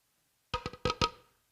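Knuckles knock five times in quick succession on an injection-molded plastic maple syrup jug shaped like an old stoneware crock, with a notch and loop handle at the top. Each knock is a short, hollow, woody tap with a faint tone near 1.3 kHz that dies away almost at once, confirming the jug is plastic rather than stoneware.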